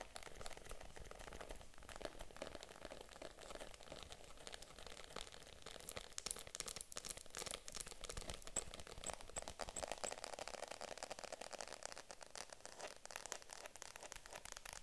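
A small pink vegan-leather (faux leather) handbag is held in both hands while long nails tap and scratch across its surface. The result is a steady stream of quick, soft clicks and dry scratching with a bright crinkly texture and almost no ring after each contact.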